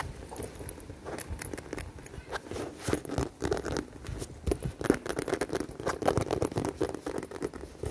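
Long dark-painted nails tap and scratch along the top seam of a hollow, dark navy smooth faux leather handbag with a buckle strap. Quick, irregular soft taps blend with crinkly scratching, giving a muffled, low-mid patter that stops short with almost no ring. The sound stays fairly quiet throughout.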